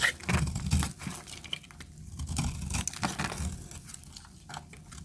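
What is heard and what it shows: A segmented utility knife blade cuts and scrapes flakes off the edge of a solid tan bar of dry soap held in the hand. The result is a rapid, uneven series of dry crunching, crumbly scrapes, heavy in the low end with bright crackly edges, loudest at the start and then settling into steadier shaving.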